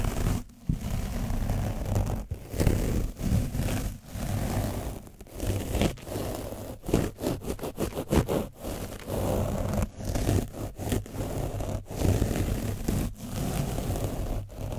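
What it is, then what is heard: Painted foam microphone windscreen being brushed. A foam brush is dabbed and rubbed against an orange foam microphone windscreen coated with dried paint. It makes a close, dense, low-heavy scratching and rustling with repeated brief dropouts between strokes. The strokes quicken into fast, choppy rubs in the middle.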